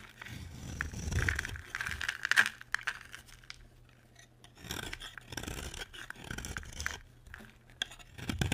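A utility knife scrapes and carves shavings from a solid oval pink bar of dry soap held in the hand. Dry, gritty scraping and rasping strokes come in bursts with a prominent bright edge, pause briefly in the middle, then resume with more strokes.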